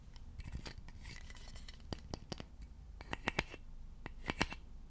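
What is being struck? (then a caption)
Wooden serving fork. A large, solid, polished wooden serving fork with slotted tines is held in both hands above the mic while fingertips and short nails scratch and tap along its tines and handle. Soft, dry scratching runs throughout, broken by sharp, bright clicks and taps that die away almost instantly over a low, steady rumble.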